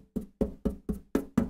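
Six knocks on the steel body of a custom SG Junior-style guitar, near where a part is fixed on. Each gives a short, hollow-sounding knock with a low tone around 230 Hz that dies away quickly. The body sounds hollow at that spot.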